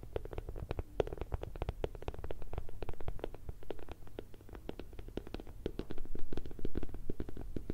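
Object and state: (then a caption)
Silicone bear night light. A hand-sized, bear-shaped night light, lit from inside with a hollow, soft silicone or plastic shell, is tapped rapidly and unevenly with long red nails and fingertips. The taps land as dull, low, hollow thuds with short clicky edges that die away almost at once, and they grow louder near the end.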